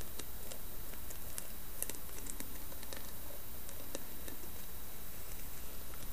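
Long nails tap and scratch the carved top of the lid on a round, hollow carved wooden lidded bowl with a brass knob. Light, scattered clicks and soft scratchy strokes sit over a steady low hum throughout.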